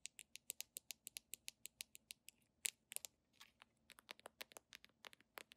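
A handheld red plastic cosmetic squeeze tube with a white plastic flip cap is tapped and scratched with long nails on the cap and body. About thirty fast, sharp, bright clicks follow one another with almost no ring, and a brief scratchy rasp comes near the middle. The sound is quiet, thin and high-pitched, with no low end.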